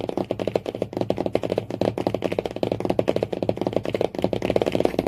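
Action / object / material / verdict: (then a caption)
tap / cardboard hardcover book cover / cardboard / none. Fingernails tap quickly and steadily on the cardboard cover of a hardcover book, giving a dense run of short, dry clicks. The taps have a hollow, mid-pitched knock with a faint scratchy edge and almost no ring.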